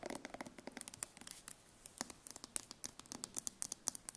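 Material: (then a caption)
Steel. Long nails scratch and tap quickly on the ridged metal bottom of a steel tin can held on its side in the hand. The result is a quiet, rapid string of bright, sharp clicks mixed with thin scraping. Each tap stops almost instantly, with no ring and almost no low end.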